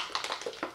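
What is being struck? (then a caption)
Small plastic cosmetic bottle of liquid with a mixing bead. A plastic bottle of SPF 50 tinted moisturizer fluid is shaken, and the mixing bead inside rattles against the walls through the liquid. Five quick, bright clicks are heard in under a second, each ringing only briefly, with no low-end body.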